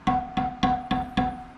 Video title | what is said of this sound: How To Replace Spokes On Dirt Bike Rim | you can just tap on the spoke, and you should hear a little ding. They should all sound like that.